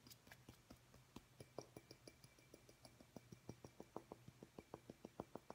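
A small, clear, hollow glass light bulb resting in the palm is tapped with the fingertips and nails of the other hand, producing about 27 quick, short clicks with a faint glassy ring. The taps come at an uneven pace, growing a little louder toward the end, over a low steady hum.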